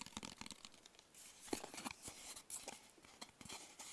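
Fingertips and short nails tap rapidly on the sides of a small, closed, hollow black cardboard gift box. The quiet, dry taps are bright and clicky, with a crinkly, papery rustle between them and almost no ring after each hit.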